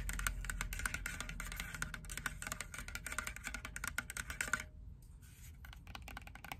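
Long nails tap rapidly and irregularly on the casing of a hand-sized, dark grey, rectangular plastic portable Bluetooth speaker, making sharp, dry clicks with no ring. The tapping is dense for about 4.7 seconds, briefly stops, then continues more softly.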